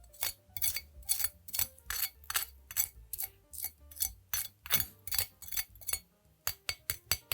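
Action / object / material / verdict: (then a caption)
scrape / baked chicken wing skin scraped with a knife / chicken skin / none. A knife is dragged across the skin of a baked, potato-starch-coated chicken wing to test how crispy it is. A quick series of sharp, bright crackles and scrapes sounds in bursts over a low steady hum.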